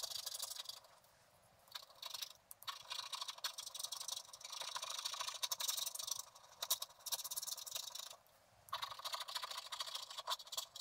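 A wooden stylus scratches the black wax coating off a flat scratch-art card lying on a table, revealing orange and colored foil underneath. Repeated bright, high, papery scratching strokes come in bursts, with brief quiet pauses between runs of strokes.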